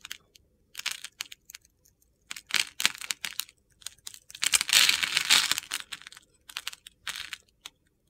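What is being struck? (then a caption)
Bar of soap. A metal box-cutter blade scores and scrapes the surface of a solid rectangular green soap bar held in the palm, and crumbly chips fall onto a table. Crisp, gritty, high-pitched scraping comes in short irregular bursts, with a longer continuous scrape in the middle.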